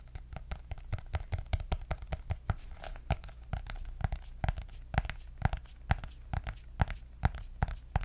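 Long nails tap and scratch the cardboard cover of a white hardcover paper notebook with gold dots. A rapid, uneven run of short, dry taps lands with low, dull thuds and bright clicking edges. Soft scratchy rustling fills the gaps between them.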